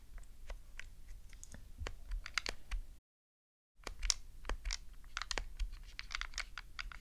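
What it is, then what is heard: Plastic game controller. Long glittery nails tap and press the face buttons of a black, hollow plastic Nintendo GameCube controller resting on a fluffy rug. They make quick, dry, clicky taps that sound like a computer keyboard. The tapping stops in a brief silent gap, then resumes at the same steady pace.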